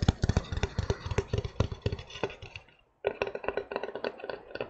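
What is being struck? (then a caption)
Flat wooden plaque. A flat, solid, hand-sized wooden heart plaque painted with rainbow stripes is tapped with fingertips and nails. About 29 quick, irregular, dull knocks sound with very short ring and a low, thumpy body. The tapping fades to a brief silence near the three-second mark, then resumes.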